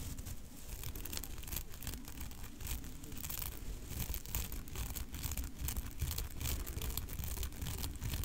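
Long nails and fingertips press and scratch across a black fluffy synthetic fur windscreen fitted over a large microphone head. The result is a continuous, irregular rush of deep, muffled rumbling scrapes, mostly low in pitch, with faint bright crackly streaks running through it at a steady moderate level.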